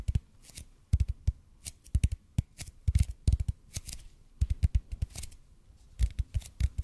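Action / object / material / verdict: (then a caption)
tap / bead foam roller / EPP foam / none. Fingertips and nails rapidly tap and scratch a large, hollow, red-and-white EPP bead foam roller in front of the mic. Dull, low, hollow thuds come in quick irregular clusters, each with a soft bright click and almost no ring, separated by brief, quiet scratchy gaps.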